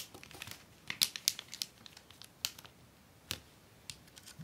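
A long, flat, folded sheet of clear acetate book-cover film with a white paper backing lies on a wooden desk while hands with long painted nails press, rub and tap along the fold, creasing the plastic. Bright, crisp crinkles and sharp ticking snaps come in an uneven scatter over a faint hiss, with almost no low end. The plastic is left creased along the fold.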